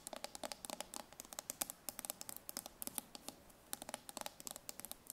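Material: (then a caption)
Steel. A full steel tin can is held in the hand while long nails tap and scratch its ridged metal bottom. A rapid, uneven run of sharp, bright clicks mixes with faint scratchy scraping, each tap dying away almost at once with no ring. The sound is quiet and dry, with very little low end.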